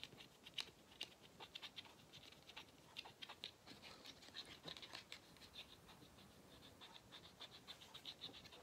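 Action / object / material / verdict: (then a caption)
scrape / rubber end cap of a vacuum cleaner filter / rubber / none. Fingernails tap and scratch the black notched rubber/plastic end cap of a hollow vacuum cleaner filter. The result is a quiet, irregular run of short, dry clicks and scrapes with bright, high-pitched ticks and almost no low end.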